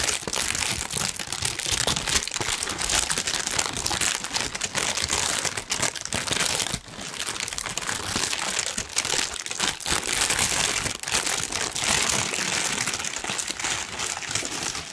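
A large, thin, wrinkled sheet of pink tissue paper is held up in both hands near the microphone and crumpled and rubbed with the fingertips. The result is a dense, continuous, bright crinkling with little low end, holding a steady level apart from a brief dip around the seventh second.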